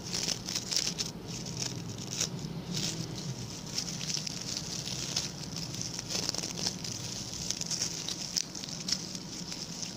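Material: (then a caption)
Coconut fiber. Fingertips and short nails of both hands scratch and flick the stiff brown bristles of a small, round, ring-shaped coir (coconut fiber) brush with a pink plastic handle. The result is a steady, dense, crisp patter of bright, dry scratches with frequent sharper flicks and a soft low rumble underneath for the whole clip.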